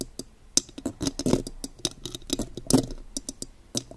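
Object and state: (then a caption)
Metal microphone grille. Long gold claw nail extensions tap and scratch the silver metal mesh grille of a condenser microphone. The result is a quick, uneven run of sharp, bright clicks that die away almost instantly, with a few louder, grainier scratches mixed in.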